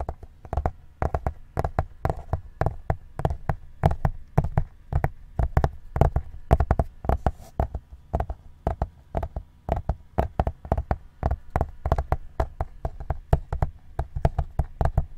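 Fingertips tap rapidly and steadily on the cover of a white plastic-covered ring binder held flat. Each tap is a short, dull, low thud with almost no ring, in a quick, continuous run.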